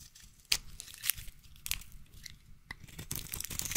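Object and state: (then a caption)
Bar soap being shaved. A utility knife blade scrapes and shaves thin curls off a solid light blue bar of soap with an embossed logo, held in one hand. Bright, crisp crunching and tearing scrapes come in short bursts with quieter rasping between them. Each cut stops quickly with almost no ring.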